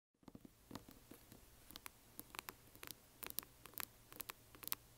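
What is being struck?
Small hollow resin box.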